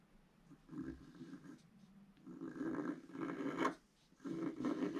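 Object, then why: Wax-coated scratch art paper scratched with a wooden stylus. A wooden stylus scratches lines into a flat scratch art page, black wax coating over rainbow paper, lying on a table while a hand holds the page down. Soft, raspy scraping strokes come in bursts with a gritty midrange texture and quiet pauses between them.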